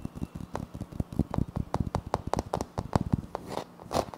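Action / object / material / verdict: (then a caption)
scrape / wood-look laminate floor panel / laminate / none. Both hands scrape and scratch a flat, solid wood-look laminate floor panel with a light wood-grain print using short nails. Quick, dry scratches and soft taps overlap in an uneven run, each with a dull low thump and a brief bright crackle that stops almost instantly.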